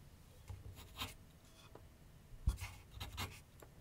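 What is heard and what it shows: A graphite pencil scratches continuous sketch strokes across a medium white canvas/paper board on a wooden easel. Soft, dry scratching bursts come in short strokes, with brighter, grainy rasps over a faint low background hum. The strokes stop quickly with almost no ring, leaving a quiet, close sound.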